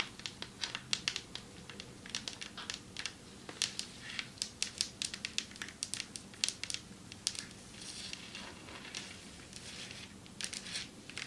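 Long metallic nails tap on a marble table top, producing a quick, irregular run of sharp, crisp clicks. Each tap is short and bright with almost no ring, and there is little low end beneath them.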